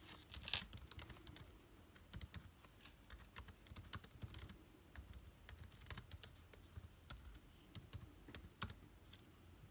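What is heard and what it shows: Fingertips type on a laptop keyboard with plastic keycaps and an aluminium body, producing a steady stream of short, dry, bright key clicks over a low rumble. The clicks come in uneven bursts and die away almost instantly, with a few louder strikes standing out.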